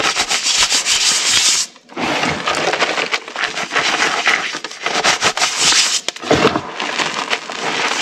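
Bare hands with painted nails rub and pat across a flat bed of pale, loose, dry crushed gym chalk powder. The result is a dense, bright, hissing scrape with soft crunchy crackles, broken by a brief quiet gap near two seconds and a few short dips later on.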